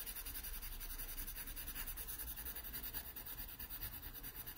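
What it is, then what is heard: Pencil scratching on sketchbook paper. A wooden graphite pencil draws curved shading strokes on a pear sketched on an open paper sketchbook page. The pencil makes soft, continuous scratching and rubbing against the paper, a quiet bright hiss over a faint low rumble. The strokes come in a steady but uneven rhythm.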